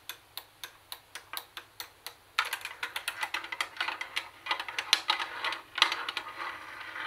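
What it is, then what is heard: Plastic boombox tapped with nails. Long nails tap the cassette buttons and flat plastic top panel of a plastic CD cassette boombox. A slow series of separate, bright, clicky taps gives way after about two and a half seconds to a faster, denser run of overlapping taps. Each tap is dry and dies away almost instantly.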